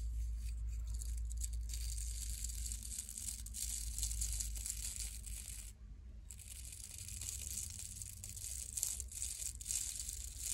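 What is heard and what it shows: Long nails scratch the stiff natural bristles and wooden body of a small, solid wooden nail brush with a patterned back, held by the fingertips. The result is a steady, bright, crackling scratch, like crinkling or tearing, over a low hum, with a brief pause around the six-second mark.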